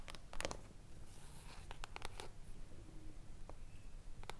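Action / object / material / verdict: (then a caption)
tap / foil-covered cardboard hardcover book / foil, cardboard / none. Long acrylic nails tap and scratch both sides of an upright hardcover book with a silver, mirror-like foil cover over solid cardboard. The result is quiet, sharp clicks with brief papery scratches over a low background hum, each tap dying away almost instantly.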